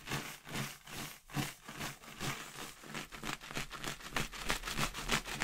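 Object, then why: Inflated latex balloon containing paper confetti. A clear inflated latex balloon with confetti inside is held by the knot with long red nails and shaken so the confetti rattles against the inside. The result is a quick series of dry, crackly, papery rustles, about three per second, rising and falling with each shake and bright in the high end over a soft low rumble.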